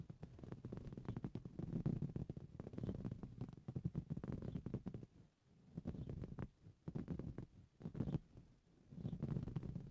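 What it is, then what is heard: Woven fabric cushion. Both hands scratch a soft, filled green coarse-weave fabric cushion with short blue-painted nails, then finish with flat fingers resting on the surface. Quiet, dense, low-pitched scratching rustles in bursts, with brief lulls in the second half before a final flurry.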